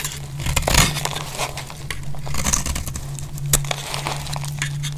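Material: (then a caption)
Soap. A metal blade scrapes shavings off the edge of a solid, faceted bar of dry green soap held in the hand. Dry, crackly, bright scraping bursts come in quick succession over a steady low hum that runs through the whole clip.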